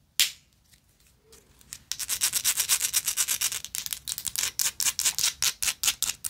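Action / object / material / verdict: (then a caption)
scrape / small engraved metal lighter / metal / none. A small, hollow, rectangular gold-plated metal lighter with engraved texture is scratched and tapped with long acrylic nails. A single sharp tap is followed by a quiet pause, then a rapid, uneven run of bright, hissing scratch strokes that continues to the end.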